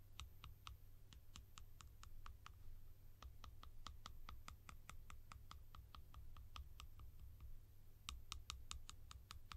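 A blue hollow plastic cap held in the hand is tapped with long nails on its sides and rim. The result is a steady series of quick, dry, bright clicks with almost no ring, over a constant low hum. The taps speed up into a faster flurry near the end.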